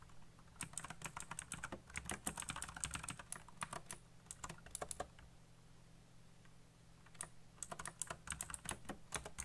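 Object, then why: Plastic mechanical keyboard. Fingertips type fast on a backlit mechanical keyboard with black plastic keycaps, producing dense, bright clicky keystrokes over a steady low hum. The typing runs in a quick burst for about four seconds, pauses briefly, then resumes near the end.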